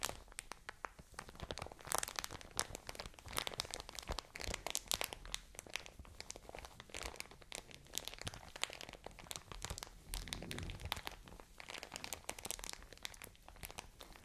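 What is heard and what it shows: A full plastic bag of cotton wool is squeezed and crinkled with fingertips and nails. The result is dense, continuous crackling and crinkling with a bright, papery hiss and quick sharp snaps throughout.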